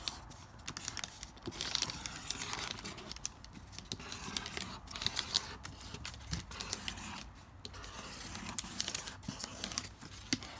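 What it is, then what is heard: Crumpled lined notebook paper. A pink felt-tip marker writes letters on thin lined notebook paper that was crumpled and then flattened, resting on a marble-pattern board. Steady, dry rubbing and scratching strokes run throughout, bright and crinkly, with quick little ticks as the tip drags over the creased paper.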